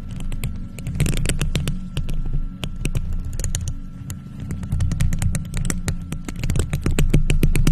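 Long purple nails on faux leather gloves scratch and tap the round, hollow, silver metal mesh grille of a studio microphone. Rapid, irregular clicks and scrapes crackle with a bright edge over a heavy, throbbing low rumble, with a faint steady tone running underneath throughout.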